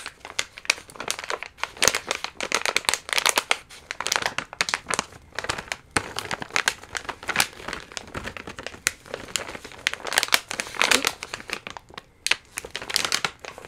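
An orange and clear plastic Carnaby Pumpkin Citrouilles stand-up candy pouch, full of round candies, is held and crinkled or shaken with the fingertips. Dense, bright, crisp crinkling rustles on continuously for about 14 seconds in rapid bursts, with almost no low end.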